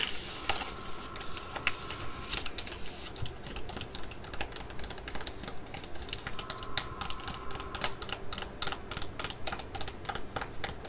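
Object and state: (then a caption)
Foil sheet-mask sachet tapped with nails. Long nails tap and scratch a full, flat laminated foil sachet holding a Korean sheet mask. The result is a quick, uneven run of sharp, bright clicks and crinkly scratches over a low background rumble.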